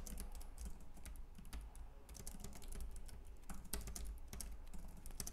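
Both hands type steadily with their fingertips on a white, compact plastic Logitech K380 keyboard with round keys. A rapid run of soft, bright key clicks sits over a steady low hum, with the taps blurring into a continuous patter.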